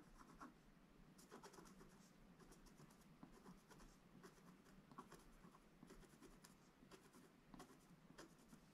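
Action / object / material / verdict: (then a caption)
scrape / scratch-art paper page scraped with a wooden stick / coated paper / none. A wooden stick scratches steadily across the middle of a black-coated gold scratch-art paper page. The result is a quiet, continuous dry scraping with brief brighter strokes standing out now and then, over a soft low rumble.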